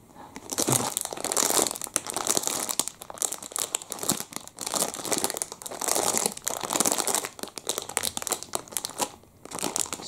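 A small clear plastic wrapper holding a full chocolate muffin is squeezed in both hands with the fingertips, crinkling and rubbing the plastic. The result is a dense, continuous run of sharp, bright crackles in waves of pressing that swell and ease, with almost no low end.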